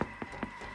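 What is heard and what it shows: A baguette baked in a Thermomix is tapped three times, giving short, dull, hollow knocks with a low pitch around 215 Hz and almost no ring. The hollow sound is the usual sign that the bread is baked through.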